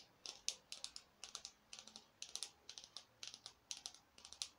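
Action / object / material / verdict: tap / foam artificial pumpkin / foam / none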